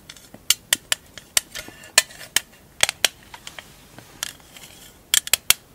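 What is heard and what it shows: Long acrylic nails tap the lid of a small rectangular printed metal marbles tin held in both hands. About fifteen sharp, bright metallic clicks come in an irregular rhythm, each dying away almost instantly with no low end. The taps end in a quick cluster of louder clicks.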